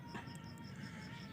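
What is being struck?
Nothing is struck.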